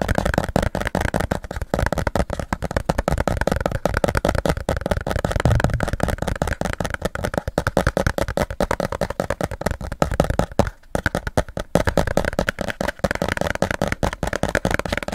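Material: Plastic.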